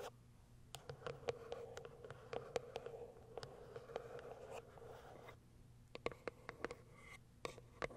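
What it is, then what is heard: Cardboard box tapped and scratched. Long nails scratch the sides of a small white cardboard product box resting on a fur rug and tap its top. Quiet, papery scratching runs through most of the clip with a faint steady tone around 480 Hz. It is broken by sharp, short, bright taps that cluster near the start and again toward the end.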